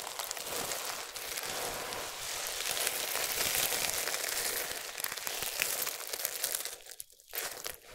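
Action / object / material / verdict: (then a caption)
scrape / soap shavings / soap / none. Fingers rake through and press down on a pile of small, solid, dry, multicolored soap strips, then both hands scoop up and crush handfuls. The result is a steady, dense crinkling crunch that is bright and high with almost no low end. It briefly drops quiet near the end before the crunching resumes.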